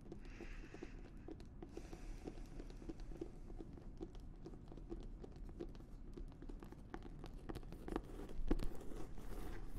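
An embossed leather notebook is held close to the microphone while its cover and edge are scratched and tapped with long nails. Quiet, dense scratching rasps along with a steady stream of short, sharp taps and clicks that stay mostly low in tone. The scratching grows a little louder and busier near the end.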